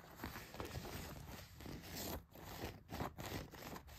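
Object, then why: Denim jeans pocket. Long nails scratch the back pocket of a pair of blue denim jeans, dragging across the fabric and the pocket stitching. The result is a steady, rough, papery scraping with a heavy low rumble underneath, broken by short pauses between strokes.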